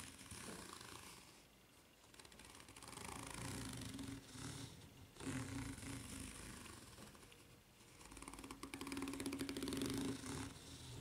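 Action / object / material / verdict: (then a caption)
scrape / rubber flip-flop sole with ridged underside / rubber / none. Long nails scratch the serrated underside of a white ridged rubber flip-flop sole, making a dense, raspy, bristling scrape. The scratching swells and fades in several waves, with a faint low hum running beneath the louder passages.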